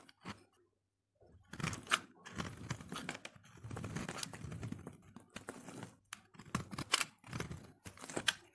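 A utility knife blade scrapes a solid yellow soap bar held in hand, peeling off soft, crumbly shavings. Dry, crunchy, crackling scrapes come in bursts of bright, broadband texture, with a brief silent pause near the start.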